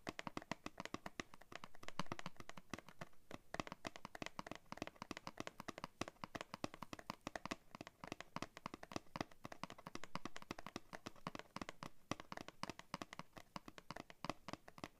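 Fingernails and fingertips tap quickly on the printed paperboard backing card of a blister pack, held upright in both hands and seen from the back. The result is a dense, steady stream of short, dry clicks and soft taps with almost no ring.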